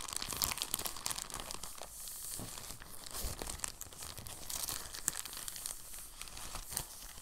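A thin, clear, empty soft plastic bag is held in both hands in front of a microphone while fingertips and short nails crinkle and fold it. A continuous, quiet stream of bright, crackly crinkles is heard, with occasional sharper snaps standing out above the steady rustle.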